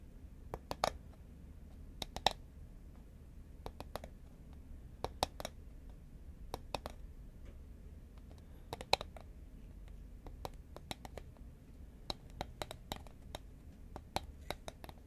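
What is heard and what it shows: Long nails tap a green, medium-sized, hollow Pringles composite paperboard chip can with metal rims, held horizontally. The result is a scattered series of quick, dry clicks in small bursts, with a hollow knock around 770 Hz and bright edges that die away instantly. A soft, steady low rumble sits underneath.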